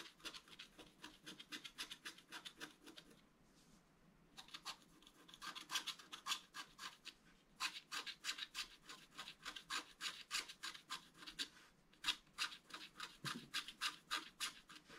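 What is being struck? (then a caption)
Coated scratch-art card scraped with a wooden stylus. A wooden stylus scratches along the outline of a fountain basin on a flat scratch-art card (black coating over colored foil) lying on a table. Quick, dry, bright scratching strokes come in an uneven rhythm of about three per second, with a brief pause near the four-second mark before the strokes resume and grow louder.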